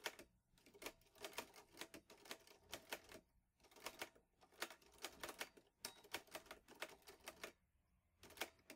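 Fingertips type steadily on the keys of a vintage teal metal Underwood Olivetti Lettera 22 portable typewriter with paper loaded. Bursts of sharp, bright key clacks come in quick runs, broken by brief pauses. Each strike is crisp and dies away almost instantly, with little low end.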